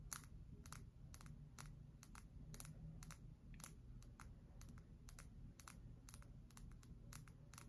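A solid cream bar of soap, held in both hands, is tapped and scratched on its face and edge with long acrylic nails. Quiet, crisp, bright clicks come in quick irregular bursts over a soft, steady low rumble, each tap dying away almost instantly.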